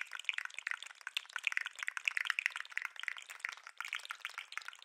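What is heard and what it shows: A segmented plastic articulated lobster fidget toy is held beside the microphone and shaken and wiggled by hand. It gives a dense, continuous stream of small, bright plastic clicks and rattles from its segments, with no low end and only a very short gap near the four-second mark.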